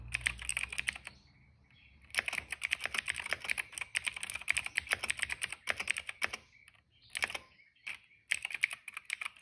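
Fingertips of both hands type steadily on a retro-style cream plastic mechanical keyboard with dark and purple plastic keycaps and a hollow case, resting on a rug. Bursts of rapid, bright, dry clacks come with brief pauses between runs. The keystrokes are crisp and high with almost no low thump and very short decay.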